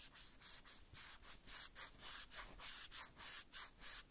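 A small hollow red plastic cowboy boot from a Woody doll is wiped and rubbed with a white cloth strip held between the fingers. Nine quiet, bright, hissing rubbing strokes come at a steady back-and-forth pace, each a short airy swish with almost no low end.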